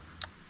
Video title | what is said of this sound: Making a hard $ | you're actually hearing the the nuts inside of it